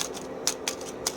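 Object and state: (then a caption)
Crisp fried potato chips. Fried potato chips, left to sit in the air until their oil dried off and their color changed, crackle with light, dry, high-pitched rustling. Three sharper snaps stand out. The crisp sound shows the chips have turned crunchy.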